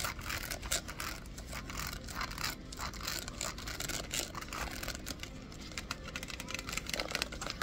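A stack of empty, hollow, hand-sized clear plastic Rubbermaid food containers with red lids, wrapped in a printed cardboard sleeve, is held up in a store aisle and tapped and scratched with long acrylic nails. A dense run of quick, dry clicks and bright scratching rasps follows, each tap dying away almost at once.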